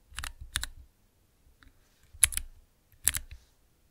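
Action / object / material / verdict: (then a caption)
tap / plastic mechanical keypad / plastic / none. Fingertips type on a small transparent plastic 9-key mechanical keypad, producing three or four brief bursts of sharp, bright clicking. Each burst holds a few quick key presses that stop dead, with a faint low thump under the crisp high clicks.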